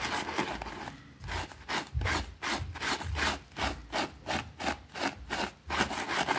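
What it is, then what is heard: Small fabric rug being scrubbed. A white plastic hand brush scrubs a small, thin, soapy green fabric rug with a rabbit print lying on a concrete floor. Quick back-and-forth strokes, about two to three per second, make a bright, wet, rasping swish with a soft low thump under each pass.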